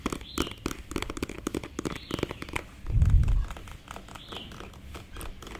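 A slim, hollow black plastic concealer stick with a beige label is tapped and scratched with fingernails close up. Quick, dry clicking taps and scratchy rustles fill the clip, with a louder, low, muffled rumble around the three-second mark.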